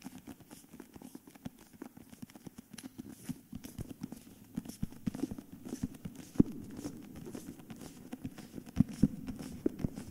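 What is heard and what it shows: Fingertips tap and scratch the paper-covered cardboard cover of a cream hardcover book while the book is tilted and moved. Soft, dry, rapid taps with a dull low-mid body mix with faint scratching, and a few sharper, louder knocks stand out toward the end.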